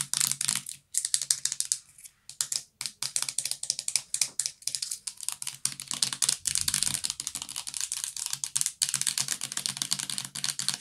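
Fingernails tap quickly on the sides and white plastic cap of a full purple plastic bath liquid bottle. The result is a steady stream of dense, bright, dry clicks with almost no ring and very little low end, with a few brief pauses between bursts.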